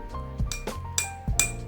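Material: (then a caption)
Glass. A drinking glass with water in it is struck a few times, giving short, bright clinks with a high ringing tone around 2.4 kHz. Each ring fades quickly over a steady low hum.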